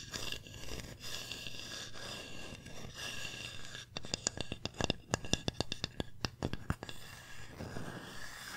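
A hand-sized, flat solid wooden pumpkin-shaped sign engraved "thankful" is scratched and tapped with long painted nails on both faces. Steady, dry scratching comes first, followed by a run of sharp, quick taps with almost no ring. Scratching resumes at the end.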